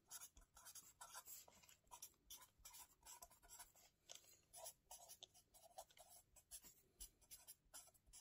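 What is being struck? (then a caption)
Felt-tip marker on lined paper in a spiral notebook. A felt-tip marker held in the fingers writes on a lined paper spiral notebook lying flat, making quick scratching strokes. Each stroke is a short, bright, hissy scrape, with a faint mid-toned squeak at times. The strokes come in a steady, quiet run of separate bursts with no lingering ring.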